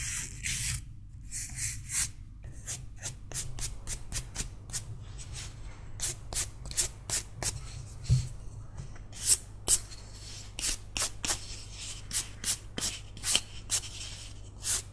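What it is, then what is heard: Carved wooden figurine being brushed. A solid carved wooden cat figurine is held in one hand and brushed with a green toothbrush. The result is a rapid series of short, bright, bristly scratching strokes over a steady low hum.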